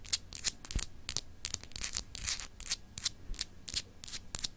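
Long acrylic nails scratch a palm-sized solid glass globe paperweight with etched continents. The result is a quick, uneven series of bright, dry scratching bursts that stop dead with no ring, over a faint low rumble.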